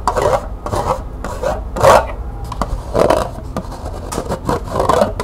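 Long nails scratch and rub along the ridged side of a small, hollow, empty green plastic cup held in the hands. Repeated raspy, scraping strokes come in short bursts, centered in the midrange with a bright, airy hiss above.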